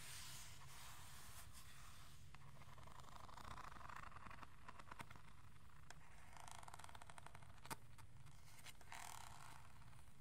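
A hand-sized hollow plastic aroma diffuser with a color-changing glow is held near the mic while fingertips and nails scrape and tap its surface. Scratchy bursts of scraping come and go over a steady low rumble, with quick tapping patters and one sharp click standing out near the end.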